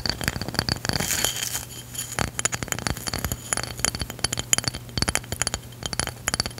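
Long pink nails tap and scratch a round, palm-sized, solid tan absorbent stone/ceramic drink coaster with an etched design and cork backing. Quick, bright, glassy clicks with almost no ring mix with a dry scratching rustle, over a faint steady low hum.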